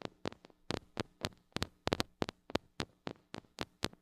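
Long acrylic nails tap and scratch on the metal mesh grille of a small gold-colored mini microphone with a metal body and hollow head, held in one hand. A steady series of sharp, dry clicks with bright, crisp tops comes through, each stopping almost instantly over a faint low hum.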